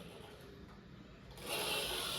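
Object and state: Nothing is struck.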